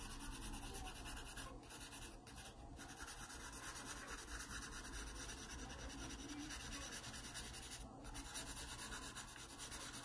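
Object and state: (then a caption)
Pencil shading on a paper sketchbook page. A graphite pencil makes shading strokes across the page of an open paper sketchbook. The result is a quiet, continuous rubbing and scratching texture with bright, hissy grain and a loose, uneven rhythm of strokes, with brief slight dips between passes.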